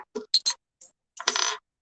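A counterfeit 1925 Morgan silver dollar, a Philadelphia coin with no mint mark, is clanked against another silver coin. Several short, bright metallic clinks are followed by a longer rattling burst of contact. The tone dies almost instantly with no lasting ring, consistent with the coin being fake.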